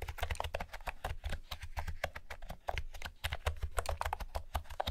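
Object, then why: Plastic keyboard with round keycaps. Long-nailed fingertips type steadily on a light blue plastic retro keyboard with round pastel keycaps and a hollow housing. A rapid stream of short, sharp key taps carries bright clicky tops over a deep, hollow low thump.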